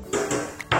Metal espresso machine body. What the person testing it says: semua dari atas sampai bawah padat